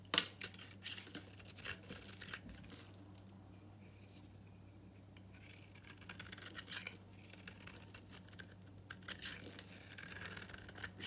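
A solid oval green bar of dry soap, held in the hand, is scraped and cut with a utility knife, shedding powdery crumbs. Quiet, bright, crumbly scratching and dry crackles come in bursts, with a calmer stretch in the middle, over a steady low hum.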